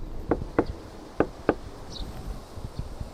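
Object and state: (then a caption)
Sound-deadened car body panel, dull and damped. Knuckle knocks on a Toyota Wish steel car body panel that has been treated with sound-deadening damping material. Each knock is a short, dull thud centered low around 300 Hz that dies almost instantly with no ring. This deadened, non-resonant response is the expected result of the damping treatment.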